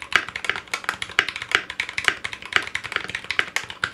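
Fingertips of both hands type on a 60% Clueboard mechanical keyboard with Zealios V2 62g switches, in a foam-lined metal case with GMK ABS plastic keycaps and a coiled cable. A quick, steady run of short, crisp clacks sits in the bright mid-to-high range around 1.6 kHz with almost no low end. Each keystroke dies away almost instantly.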